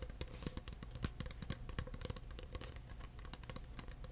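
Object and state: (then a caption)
Clear plastic cup tapped. Fingertips tap the sides, rim and base of an empty clear plastic cup. The result is a quiet, rapid, steady stream of short, dry taps, each with a soft low thump and a bright clicky edge that stops almost instantly.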